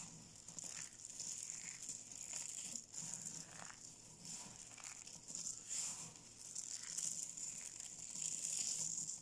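A pile of small, solid, dry yellow soap flakes on a pink surface is crushed and rubbed between both palms and fingertips. It makes a dense, irregular crunching and crinkling with a bright, hissy texture that swells and eases throughout. The gold-wrapped soap cubes nearby are not touched.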